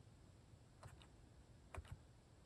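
Fingertips type on a plastic mechanical keyboard with cat-shaped keycaps. Four soft, short key clicks land in two pairs, around 0.9 s and 1.8 s. Each click has a dull low thud and a faint brighter tick over a quiet, steady low hum.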